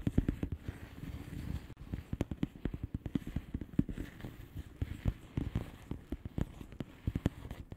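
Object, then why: Plastic bubble wrap padded envelope. A flat blue plastic bubble wrap padded envelope with air-filled bubbles is tapped rapidly with the long fingernails of both hands. The result is a steady, irregular stream of short, dull taps that are weighted low and decay almost instantly, over a faint background hiss.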